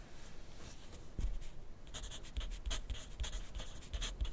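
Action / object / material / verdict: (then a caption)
scrape / graphite pencil on paper notepad / paper / none. A wooden pencil's graphite tip scratches steadily across a thin lined paper notepad lying flat on a desk. Soft, dry scratching strokes come in bursts, with bright papery rasps and low thuds as the pencil presses and lifts.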